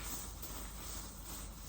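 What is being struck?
Nothing is struck.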